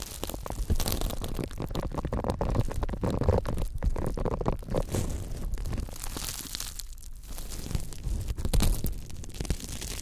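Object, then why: Silicone scrubber pad. Fingers flick and scratch the row of bristles on a thin, flexible pink silicone scrubber pad. The result is a dense, steady stream of soft crackling, rubbery scratches and quick ticks with a low, rumbling body, lasting the whole clip with small swells in loudness.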